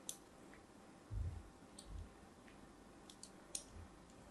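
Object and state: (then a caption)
Bar of soap being scored with a blade. A solid pink-and-white striped soap bar, held in the hand, has lines scored across its surface with a thin blade. Sharp, bright clicks and ticks cut through a soft, low rumble, and a few heavier, muffled thuds come around the middle of the clip.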